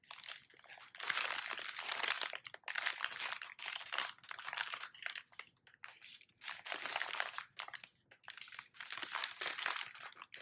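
An empty brown kraft paper bag with a printed barcode is held in both hands and crumpled, folded and crinkled with the fingertips. Bursts of bright, dry crinkling and crunching come in repeated waves with brief quiet gaps between them, with no low rumble underneath.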